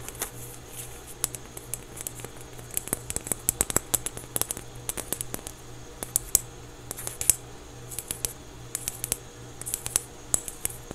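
A small orange basketball-patterned foam stress ball, solid and soft, is held in both hands and scratched and squeezed with fingertips. Rapid dry, crisp scratching ticks with bright high edges come in irregular bursts over a quiet, steady low hum.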